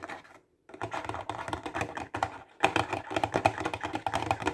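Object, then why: Clear plastic box of highlighters. Fingertips and nails tap quickly along the top edge of a clear plastic box full of highlighters, making a dense run of short, dry, clicky taps. The taps ring around 780 Hz with a bright edge, pausing briefly about half a second in before continuing in rapid, uneven bursts.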